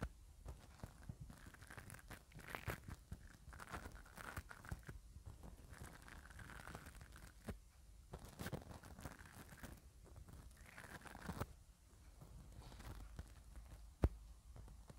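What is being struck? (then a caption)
Metal mesh microphone grille and spoolie brush. A spoolie brush's bristles are scrubbed back and forth across the silver metal mesh grille of a mini microphone held in one hand. The result is a continuous stream of scratchy, crackling rubbing with a low, muffled body and brief pauses between strokes. A single sharp tick stands out near the end.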